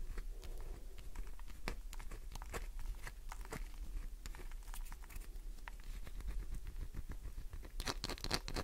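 Long nails scratch quickly across a solid green glycerin soap bar, scoring and flaking its surface. The result is a quiet, steady run of short, dry scratches and crinkly clicks over a low background hum, with brighter bursts near the end.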